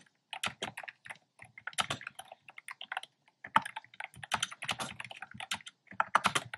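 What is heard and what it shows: Fingertips type quickly on a black plastic keyboard with hollow, round, retro-style pastel keycaps. The result is a rapid, uneven run of short, dry clicks and clacks with brief pauses between bursts. The sound is bright and mid-focused, with very little low end.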